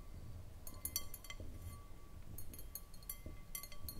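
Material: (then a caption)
Glass. Long manicured nails tap around the sides of a clear, round, empty and hollow glass bowl on a short foot resting on a wooden table. The taps come in quick clusters of bright, glassy clinks with short high pings that fade fast, over a steady low background rumble.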